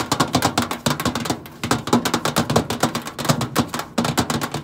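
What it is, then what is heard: Stainless steel microwave side panel. Long acrylic nails tap quickly and scratch across the flat stainless steel side panel of a hollow microwave. The result is a rapid series of sharp, bright clicks with a hollow body around 240 Hz, each dying away almost instantly, broken by a few brief pauses and scraping passages.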